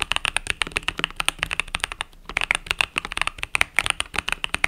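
Fingertips with long nails type rapidly on a compact mechanical keyboard with cream and purple plastic keycaps resting on a desk mat. The result is a fast, steady run of short, bright plastic clacks with very little low end, broken by a brief pause around the two-second mark.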